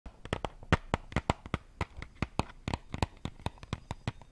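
A small, closed rectangular cardboard matchbox with brown striker strips, hollow and holding matches, is tapped and scratched on its top and sides by long painted nails while held over a water bowl. There are about 22 short, dry, hollow taps with quick decay and low body, plus faint scratching between them. At the end the box is briefly held in one hand.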